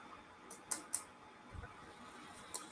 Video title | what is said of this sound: Thursday Action Figure Fun! | sounds like plastic because it's not 100 wood